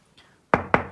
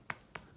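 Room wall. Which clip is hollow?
The first.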